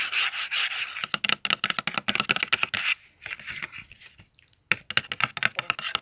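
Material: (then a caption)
Cardboard. Fingertips and nails tap the front of a closed, medium, hollow red cardboard Faber-Castell oil pastel box, then the box is flipped and its back is tapped and rubbed. Quick, dry, bright taps with a papery scratchy texture come in fast bursts, with a quieter stretch of soft rubbing in the middle before sharp tapping resumes.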